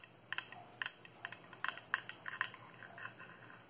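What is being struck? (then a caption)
Small clear hard plastic cube box. Long manicured nails tap on a small, hollow, transparent hard-plastic cube box held in the hands, nearly empty except for a small green item inside. About a dozen quiet, sharp, bright clicks come in an uneven rhythm, some in quick pairs, each dying away almost at once. A faint hiss sits underneath.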